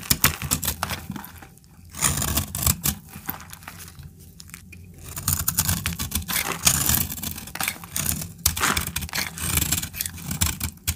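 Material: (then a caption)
Soap. A metal utility-knife blade scrapes and cuts a solid, dried orange soap bar held in the hand, shaving it into flakes. Dense, dry scraping and crisp tearing cuts come in bursts, carrying bright high hiss above a low rumble, with brief quieter pauses between strokes.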